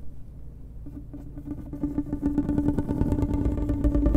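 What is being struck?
Ribbed hollow plastic tube.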